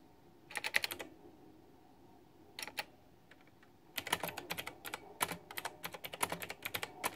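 Fingertips with long painted nails type on a white, backlit, full-size plastic retro mechanical keyboard with a pink flower theme and round typewriter-style plastic keycaps, resting on a fluffy mat. A short burst of bright, crisp clacks comes first, then a brief flurry after a pause. From about four seconds on, the typing runs steadily to the end, each keystroke dry and quick with almost no ring.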